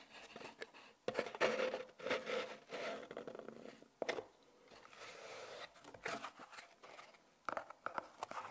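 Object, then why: Small cardboard box. Long painted nails tap and scratch the surface of a small, closed brown cardboard product box with a barcode label, likely holding magnet balls. The result is a run of dry, papery scrapes and crisp taps in uneven bursts, with a hollow midrange tone and bright scratchy edges.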